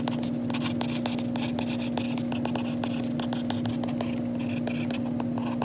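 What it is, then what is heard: Plastic stylus tip tapping on a glass tablet screen. A lilac Apple Pencil with a plastic tip, held in the fingers, writes on the glass touchscreen of an iPad lying flat, making quick light taps and scratchy strokes across the glass. A steady low hum runs underneath the whole time.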